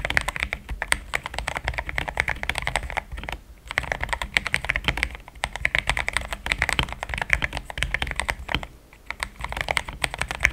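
Fingertips type continuously on a cream and pink mechanical keyboard with plastic keycaps. A steady stream of quick, bright clacking keystrokes is heard, each short and crisp with a soft low thump beneath. The typing pauses briefly a few times.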